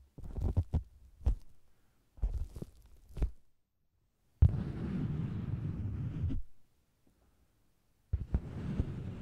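Fingers with long green nails tap and pat the red top of a round, hollow faux leather cosmetics bag with a microphone inside, while hands also rest at its sides. Deep, muffled thumps come in quick clusters, then a steady low rumbling rub runs for about two seconds. After a short silence, the rumbling starts again. Almost all the sound is low and boomy, with no bright edge.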